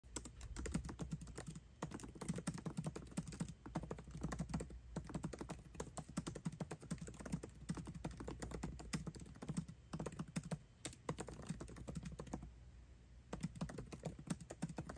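Fast continuous typing on the backlit black plastic keycaps of a 13-inch aluminium MacBook Pro resting on a lap, both hands tapping the keys quickly with the fingertips. The result is a dense stream of short, soft, dull key clicks with little ring, broken by brief pauses around 1.7, 3.6, 4.8, 10.8 and 12.5 to 13.3 seconds.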